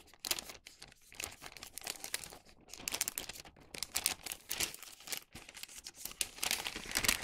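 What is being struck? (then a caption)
Wax paper bag. A thin printed wax paper bag is twisted, scrunched and opened by hand. It makes a steady run of dense, bright crinkling and crackling with quick snapping bursts, almost no low end, and short pauses between handfuls.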